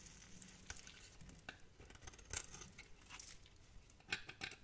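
A metal knife scrapes and carves small cubes off the end of a hand-sized, solid, orange and cream striped soap bar held in the hand. Quiet, bright, dry scratching and crisp little cuts patter along, with a few sharper clicks standing out as pieces break away.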